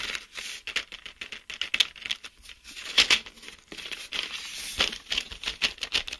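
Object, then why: Clear plastic blister pack with card backing. A hand-sized, card-backed clear plastic blister pack holding 10 colored mechanical pencils, with hollow blister bubbles over the pencils, is held and turned while fingertips and short nails tap and scratch across the plastic. The result is a dense run of quick, bright, crinkly taps and scratches with almost no low end and very short ring.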